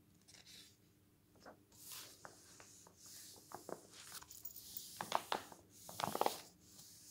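A flat hand rubs along the pages of a glossy paper travel magazine lying open on a wooden table, and fingers turn the pages. Soft, breathy swishes alternate with bright, crinkly rustles, and sharp crackles come as each page lifts and flips over.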